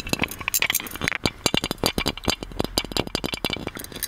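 Fingernails tap on the body and lid of a gold metal genie lamp held in both hands, making a rapid stream of light, bright metallic clinks. Each tap is short and dry with almost no ring, and the taps come in quick irregular runs. The tone is mostly high with little low end.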